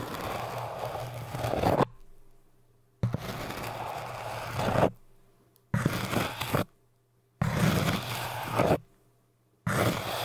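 A thin metal needle and a crochet hook held in fingers scratch and poke a tall orange hard foam cylinder. Five bursts of dense, gritty scratching, each swelling louder just before it stops, are separated by short near-silent pauses with a faint low hum.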